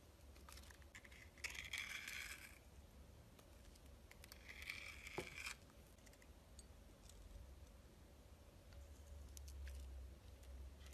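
A metal box-cutter blade slices in layers through a solid, translucent red glycerin soap bar with a red glitter crust. Two bright, crackly scraping bursts stand out, the second ending in a sharp click. Quieter gritty crackles and a steady low hum fill the rest of the clip.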